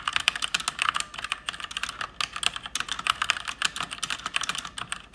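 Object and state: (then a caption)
Plastic mechanical keyboard. Fingertips and long nails type fast and continuously on an RGB-backlit mechanical keyboard with plastic keycaps. The result is a dense, steady stream of bright, sharp clicks and clacks with almost no low end. Each keystroke dies away instantly.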